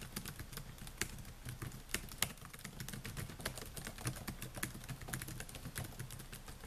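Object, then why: Plastic laptop keyboard keys. Fingertips type continuously on the plastic keys of a silver Dell laptop with a metal and plastic body, producing a steady stream of quick, bright, dry taps. Each tap dies away almost instantly over a quiet low background rumble.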